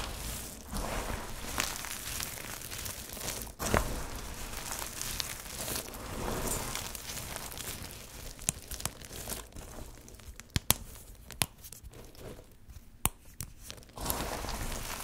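A large heap of small, multicolored, hard, dry soap shavings and chips is dug through and rubbed by bare fingertips, with pieces crumbled between the fingers. The sound is a steady dry crinkling and crunching rustle, and sharp bright clicks stand out in the second half.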